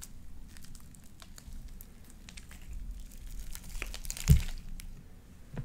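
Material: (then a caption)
Slime. Light-blue beaded sticky slime coats the fingers and is squeezed and pressed between the palms and long painted nails, giving soft wet squishing with scattered bright crackly pops over a low rumbling bed. A louder squelch stands out near the end.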